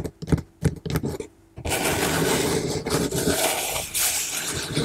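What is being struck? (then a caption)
Corrugated cardboard box. Fingertips and long nails tap on the front panel of a large, closed, hollow corrugated cardboard shipping box sealed with clear tape, giving a few distinct dull, hollow knocks in the first second and a half. The nails then scratch across the panel in a continuous, bright, rasping scrape that lasts to the end.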